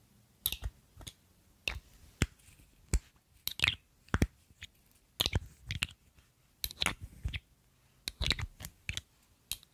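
Long nails and fingertips tap a filled, palm-sized pink faceted glass perfume bottle with a silver metal cap close to the microphone. Quick, dry clicks come in irregular bursts with a bright, high edge and a soft low thump, and each tap dies away almost at once.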